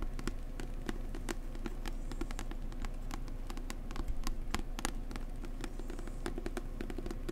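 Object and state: Book tapped.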